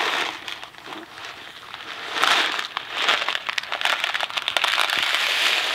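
A Kraft macaroni & cheese cardboard box full of dry macaroni is held in hand and shaken end to end. The pasta makes a dense, bright rattling and crinkling with almost no low end, starting softer and growing louder and more continuous after about two seconds.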